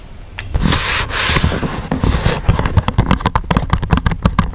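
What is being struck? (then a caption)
Printed paperboard box. Fingertips rub and scratch across the glossy printed surface of a small paperboard retail box for a Kangaro 1-hole punch, lying flat and closed with the punch likely inside. A broad, bright rubbing hiss swells through the first half, then gives way to a quick run of short, dry scratching taps with a dull low thump under each.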